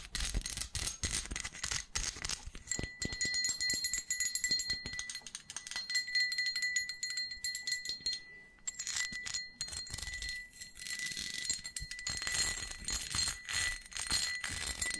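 A small, hollow, empty pink textured glass dish or bowl, held in the hand, is rapidly tapped and scratched with long nails. Each contact gives a bright, bell-like ring with steady high tones, over a dense stream of clicking and scraping.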